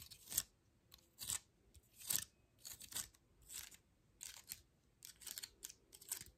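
Long fingernails scratch and flick the scale edges of a dry, open pine cone held close. The result is quiet, dry, crackly bursts that are bright and mostly high-pitched, with little low end. They come in irregular short clusters about once a second and die away almost instantly.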